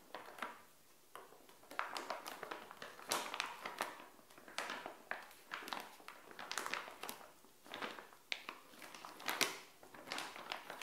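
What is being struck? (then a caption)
Soft plastic pouch with fabric inside. Long acrylic nails tap and scratch the surface of a small, flat, printed plastic SHEIN pouch with a bikini inside, lying on a tile floor. Quick, bright plastic crinkles and clicky taps come in uneven bursts with short pauses between them. The sound is thin and close, with almost no low end.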